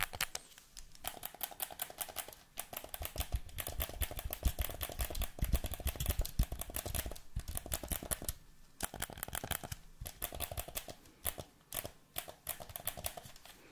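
A black, hand-sized, hollow plastic PlayStation 4 controller with its light bar lit is held close, and fingertips tap and click its buttons and triggers. Rapid, irregular clicks and taps follow one another, each short and sharp with little ring, over a low thump from the hollow shell.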